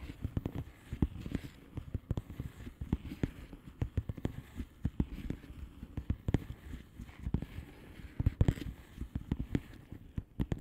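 Long polished nails tap and scratch across a flat, hollow plastic bubble-wrap mailer lying on a surface. A quick, irregular stream of soft, dull, low taps with almost no ring is layered over a faint papery scratching rustle. Occasional firmer taps stand out from the steady patter.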